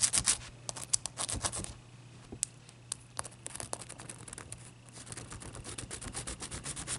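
Long dark-purple nails and fingertips rub and scratch the surface of a clear, irregular solid ice chunk held on a white towel. The result is a quick, uneven run of bright, crackly scratches and sharp clicks over a faint steady low hum, louder at the start and settling into a softer, steady scraping.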